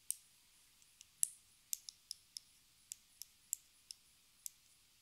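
Long red acrylic nails tap and scratch a small, hollow, square pink plastic lipstick case with a gold band, held in both hands. Twelve sharp, bright, dry clicks sound at irregular intervals, each dying away almost at once with no ring. The clicks are quiet and high-pitched, with almost no low end.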